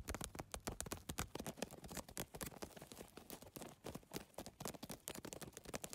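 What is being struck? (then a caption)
Handbag of rigid PVC tiles. Fingertips and nails tap and scratch the rigid plastic tiles of a holographic geometric PVC-tile handbag in a fast, irregular stream. Each quiet, dry click dies away almost instantly, with soft scraping between the taps.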